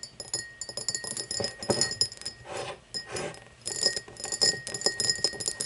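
Long blue-painted fingernails tap and scratch an empty, hollow, tall cut-crystal glass tumbler standing upright on a wooden table. Quick, irregular taps give bright, high glassy pings that die away almost at once, broken by softer scratching passages. A faint steady tone near 1.9 kHz sits underneath throughout.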